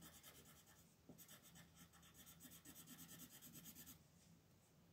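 An orange wooden colored pencil shades a thin paper coloring page in short strokes while the other hand, with long nails, rests on the sheet. A soft, bright, scratchy rasp repeats in quick rhythmic strokes, growing denser and louder from about one to four seconds before easing to a quieter rub at the end.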